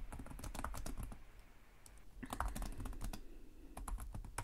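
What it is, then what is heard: Plastic laptop keyboard. Fingertips of both hands tap rapidly on the low-profile plastic chiclet keys of a black laptop with a hollow body, in continuous typing. The quick, dry clicks carry a dull low thump, thin out briefly in the middle, then pick back up.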